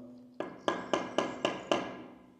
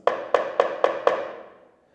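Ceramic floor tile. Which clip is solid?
The first.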